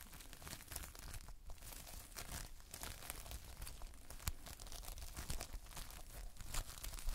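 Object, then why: Foam-bead modelling compound. A multicolored lump of Playfoam, foam beads in a sticky binder, is held and squeezed between the fingers in dim light. A steady, quiet run of close, sticky crackles and crinkling pops continues throughout, with bright snapping bursts as the beads pull apart and press together.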